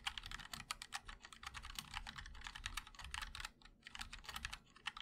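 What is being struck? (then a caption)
Mechanical keyboard with ABS keycaps and aluminium case. Fingertips of both hands type continuously on a 60% MOD-L mechanical keyboard with linear switches, a black aluminum case, and white and black ABS keycaps. A rapid, uneven stream of short, bright clicks with a soft low thock underneath, each keystroke dying out almost instantly, with a brief lull near the end.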